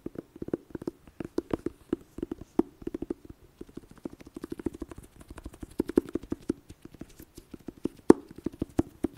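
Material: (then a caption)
Cardboard. Long dark nails tap and scratch across the printed lid of a flat, rectangular, hollow red cardboard eyeshadow palette case printed "Blood Sugar." The result is a quick, irregular run of dull, hollow taps with a low midrange knock that stops dead with no ring, and faint scratchy sounds between them.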